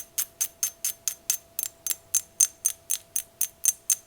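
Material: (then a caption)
Glass. A small lime-green, pear-shaped glass vase with curved line designs is tapped with fingernails. Sixteen quick, even taps sound, bright and high-pitched with a short glassy ring that fades almost at once.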